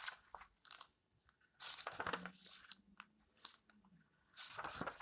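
Hands smooth and flip the paper pages of a small open paperback, making soft, irregular rustles broken by louder, crisp, bright crunchy bursts. A faint low hum sits beneath the quieter stretches.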